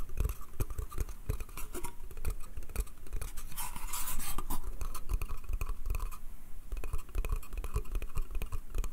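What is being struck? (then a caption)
Small pine slatted crate. Fingernails scratch and tap quickly on the slats of a small, hollow, empty pine slatted bath crate. The result is a dense stream of rapid, dull wooden taps with low thumps, plus a brighter, scratchier stretch near the middle.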